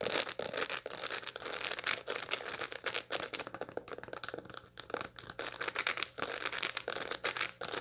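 Long light-blue nails scratch across the packed seeds of a dried sunflower head held in both hands. The result is a dense stream of short, dry, bright scratching and crackling strokes that rise and fall in bursts, with almost no low end.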